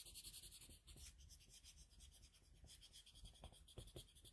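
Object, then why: Colored pencil on a sheet of drawing paper. A red colored pencil held in a metal extender is rubbed and stroked back and forth across a flat sheet of drawing paper resting on a desk, shading the drawing. Quiet, continuous scratchy strokes with a bright hiss and soft low thuds run throughout.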